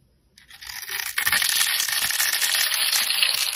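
A metal blade scrapes and carves a hand-sized solid bar of soap held in the fingers, shaving curls and flakes off its green scored outer layer down to the white interior. After a brief silence, a dry, bright scraping rises and settles into a steady, rasping shave with tiny crackles, almost entirely in the high range.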